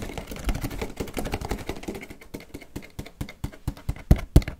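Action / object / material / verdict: tap / small cardboard box / cardboard / none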